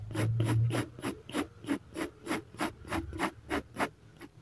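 A fine-tip felt pen held in the fingertips makes short hatching strokes on a sheet of drawing paper clipped flat to a solid-backed clipboard. It produces a quick, steady run of dry scratches, each a brief bright rasp with a soft papery body. A low hum sits under the first strokes.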